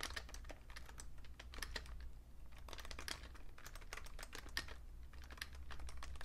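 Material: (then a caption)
Plastic. Fingertips type steadily on a vintage beige Fujitsu Siemens full-size plastic keyboard with a hollow case, producing a continuous stream of quick, dry key taps. The clicks are bright and short with almost no ring, heard over a steady low hum.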